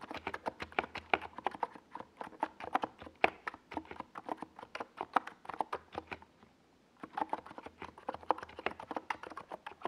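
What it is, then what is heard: Mechanical keyboard with plastic SA keycaps. Fingertips of both hands type steadily on a compact 68-key NiZ Plum Atom 68 mechanical keyboard with a white plastic case and tall purple and yellow Domikey Gas Attack SA plastic keycaps, resting on a desk pad. The result is a dense stream of short, crisp clacks with a mid-pitched, hollow plastic tone and almost no ring. A brief pause comes just before the seventh second, then typing resumes.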